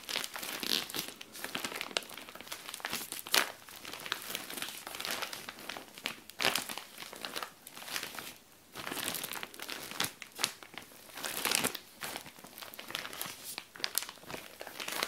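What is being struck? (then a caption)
Clear plastic zip bag with folded garment. Long dark nails scratch and rub a flat, clear SHEIN plastic zip bag holding a folded purple garment as it lies on a tile floor. The result is a dense, bright crinkling with sharp scratchy bursts and almost no low end, swelling and easing in irregular waves throughout.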